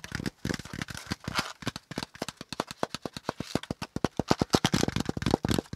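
A hollow, empty brown corrugated cardboard packaging insert, with a flat panel and folded zigzag compartments, is held up and tapped and scratched along its ridges with fingertips and nails. The result is a rapid run of short, dry, hollow taps with a low papery thump near 240 Hz. Brief scratchy rustles sit between the taps, and each one dies away almost instantly.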